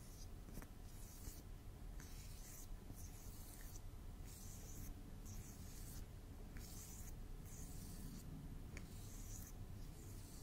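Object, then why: Plastic drinking straw. A long, thin, hollow pink plastic drinking straw, bent or doubled over, is held upright beside the microphone and rubbed and scratched with the fingertips. Quiet, bright scratchy rasping comes in repeated bursts over a steady low rumble for the whole clip.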